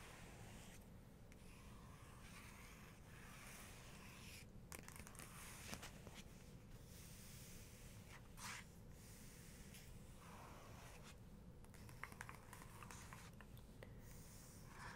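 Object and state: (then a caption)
Book page, nail scratching. A long fingernail and fingertips trace and lightly scratch across the smooth paper of an open photography book, resting on a close-up portrait page. The quiet, steady scratching and soft brushing sit over a low background rumble, with a few faint ticks where the nail catches the page.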